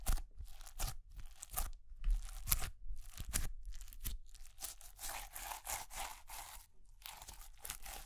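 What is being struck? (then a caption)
Clear slime with small plastic beads. A palm-sized ball of clear, glittery slime packed with small white plastic pearl beads is held in one hand and pressed, squeezed and poked with fingertips and long grey-painted nails. It gives irregular bursts of crunchy, crackling bead sounds with bright, sharp edges over soft low thumps, in a quick, uneven rhythm.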